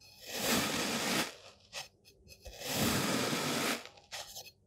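A hand-held white-bladed knife scrapes and rakes lines through a flattened pile of green kinetic sand on a table. Two long, gritty, hissing scrapes rise and fade, each followed by a few shorter scratchy strokes, with bright crunchy grain texture over a soft low body.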